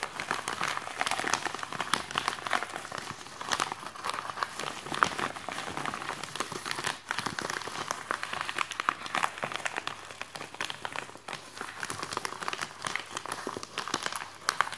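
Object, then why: Polythene mailing bag. A white polythene mailing bag with one forearm inside it is tapped and scratched by the fingertips and nails of the other hand. A continuous stream of dense, crisp crinkling and rustling sounds plays out, concentrated in the mid and high range with little low end. Quick tap transients are scattered throughout, too many and too close together to count.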